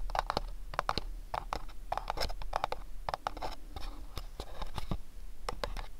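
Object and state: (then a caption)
Cardboard gift box. A small, hollow, house-shaped printed cardboard gift box is turned in the hands while fingernails tap and scratch across its surfaces. Quick, dry scratches and sharp taps repeat in uneven clusters over a faint low rumble, each one dying away almost instantly.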